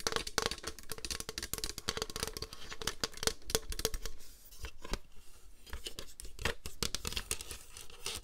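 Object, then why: Plastic paper trimmer board. Long green nails tap and scratch the top and hollow ribbed underside of a flat, rectangular white plastic paper trimmer with a grid and an orange slider. A rapid stream of dry, clicky taps mixes with bright, scratchy rasps, each carrying a short hollow plastic tone around 450 Hz that dies away almost at once.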